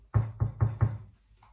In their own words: Klopftest bestanden. Brot ist hohl, das heißt, ist durchgebacken.